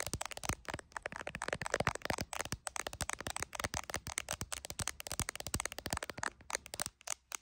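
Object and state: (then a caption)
IPhone in a clear plastic case, tapped with nails. Long acrylic nails tap fast on the camera lenses and the back of an iPhone in a clear plastic case, held in both hands and seen in a mirror. A rapid, continuous stream of sharp, dry clicks with bright, crackly tops and almost no ring, like crisp plastic crackling.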